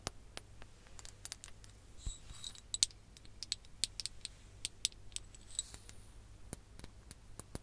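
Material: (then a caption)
Glass. A ribbed glass hourglass filled with orange sand is held close to the mic and tapped with long nails. The result is a quiet series of sharp, bright clicks and taps with faint scratchy rattles, each dying away almost at once over a low steady hum.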